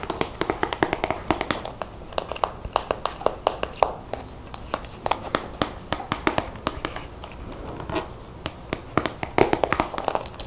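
Long painted fingernails rapidly tap a medium plastic squeeze tube of acrylic paint held in the hand. The result is a quick, irregular run of sharp, dry clicks that stop instantly with no ring, centered in the mid-range over a soft background hiss.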